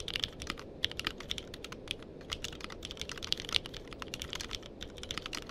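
Fingertips type rapidly on a compact mechanical keyboard with a purple case and plastic keycaps, with a microphone set nearby. The result is a steady stream of bright, crisp clicks and clacks that die away almost instantly over a faint low background hum.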